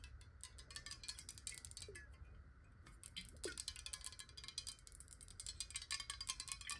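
A clear, square, hollow glass water bottle, partly filled with water, is tapped rapidly with long nails. The result is a dense stream of quick, bright, glassy clicks with very short ring, over a faint low rumble.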